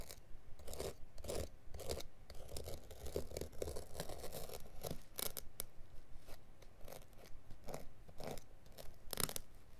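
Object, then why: Woven carpet backing. A blade is pressed and scraped along the edge of a carpet mat's woven, felt underside near a corner, scoring the backing. Repeated crisp, crunchy cutting strokes, about two per second and somewhat uneven, flash bright over a steady low rumble.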